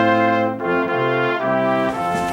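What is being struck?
Nothing is struck.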